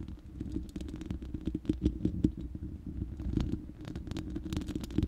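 Long manicured nails of both hands scratch and tap the uncovered, hollow round steel mesh grille of a large studio microphone. The result is a dense, continuous crackle of quick scraping clicks and soft taps over a heavy low rumble, with brief bright ticks scattered throughout.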